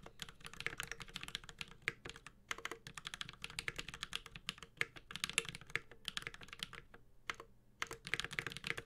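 A Space65 Cybervoyager 65% mechanical keyboard with an aluminum case, ABS keycaps and Holy Panda switches is typed on continuously with the fingertips of both hands. Fast, bright, crisp clacks run in quick bursts, each dying away almost instantly, with a faint low thock beneath and a few brief pauses between flurries.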